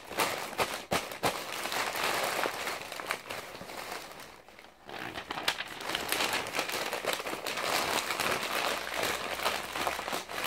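Both hands turn and crumple a wrinkled bundle of thin, light, blue printed glossy magazine pages resting on a lap, working the sheets with the fingertips. The result is a steady, bright crinkling and crackling of paper with sharp snaps throughout, easing briefly into a quieter lull midway before picking back up.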